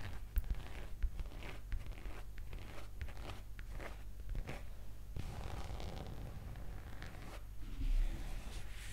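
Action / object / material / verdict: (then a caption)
scrape / leather skirt / leather / none. A black leather skirt, a soft flexible garment draped near the microphone, is scratched and rubbed with long green acrylic nails. Quiet, dry scratching and creaking rustles come in short bursts over a low steady hum, with a few sharper ticks.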